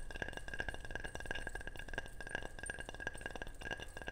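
A ceramic object is tapped repeatedly in a quick, steady stream of light taps. Each tap gives a short, bright clink with a ringing tone near 1.6 kHz that dies away almost at once, over a soft low rumble.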